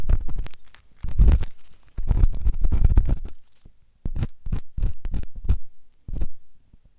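A metal ear pick scratches inside the canal of a white solid silicone ear on a binaural microphone. The result is close, low, rumbling scrapes and short grainy strokes in uneven bursts, with brief quiet gaps between them.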